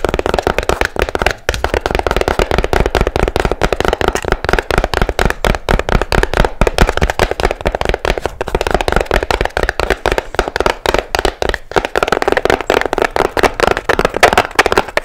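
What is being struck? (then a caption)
Small fabric-covered box. Long nails tap fast and hard on the blue fabric side of a small, hollow box with seashells on its lid. It makes a dense, nonstop stream of dry, muffled clicks and knocks with a hollow midrange thud. Each tap dies away almost instantly.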